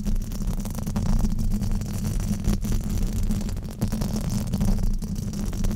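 Fingertips and nails rub and scratch a black foam windscreen on a microphone. The result is a steady, dense, low rumbling scrape with a buzzy tone around 210 Hz, almost no bright content, and small swells in level throughout.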